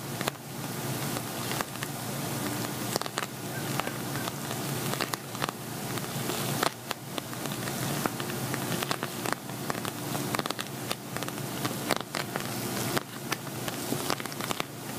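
Fingernails tap and scratch across an empty, hollow silver glitter vinyl zippered cosmetic bag. The result is a steady, crackly scratching texture broken by many sharp, dry taps that die away almost instantly.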